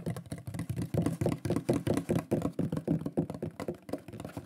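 Fingertips and nails tap and knock quickly on a large, flat, solid wooden shield-shaped pyrography plaque with a burned lion design. The result is a fast, irregular stream of short, dull, woody knocks with a low, warm body and little brightness, each dying away almost at once.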